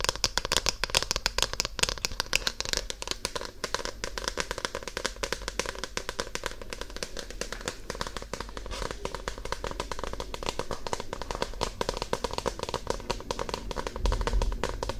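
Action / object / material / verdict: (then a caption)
scrape / paperback book with glossy card cover / paper, card / none. Long nails scratch and tap across the glossy card front cover of a solid paper paperback book held close to the microphone. The result is a dense, steady stream of fast, dry crackling ticks and scrapes spread across lows to bright highs, with a slightly louder burst near the end.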